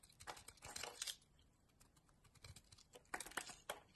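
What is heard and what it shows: A utility knife blade carves and shaves the edges of a solid, hand-sized yellow Doxa bar of soap held in a long-nailed hand. Quiet, crisp, bright scraping and crinkly shaving sounds come in short bursts, denser in the first second, then a softer lull, then a few sharper scrapes near the end.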